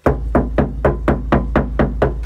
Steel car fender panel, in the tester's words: terdengar sekali di bagian dalam nah terasa banget suaranya